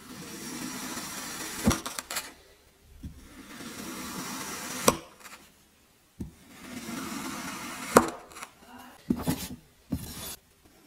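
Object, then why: Block of kinetic sand cut with a metal knife. A metal kitchen knife slices a solid cylindrical block of teal kinetic sand into slabs. Each of three passes gives a soft, gritty crunching hiss through the sand, ending in a sharp tap as the blade finishes the cut, followed by a few lighter knocks.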